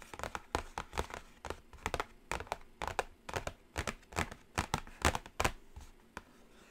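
Long acrylic nails tap and scratch across the printed lid of a flat, closed black cardboard Carnival eyeshadow palette box. It makes a continuous run of dry, quick clicks with soft scratchy rustling in between, each tap dying away almost instantly with no ring.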